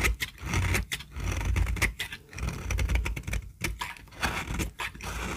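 A small, solid, peach-colored bar of dry soap held in the hand is shaved with a metal utility-knife blade. The blade makes repeated dry, crisp scraping and crackling strokes with bright high-frequency texture over a low rumble, in uneven bursts across the clip.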